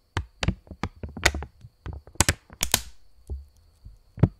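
A purple £20 polymer plastic banknote, held stretched between both hands, is tapped with the fingertips and snapped taut. The result is a quick, uneven run of dry taps and sharp crackling snaps with a low thump beneath them, and each one stops almost at once.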